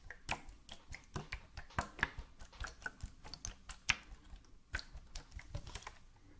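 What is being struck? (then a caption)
Plastic bottle. Medium-length fingernails tap along the side of a hollow white plastic bottle with a red cap, held sideways in both hands. About nineteen short, dry clicks come in an uneven rhythm, each bright and snappy with almost no ring, over a faint background.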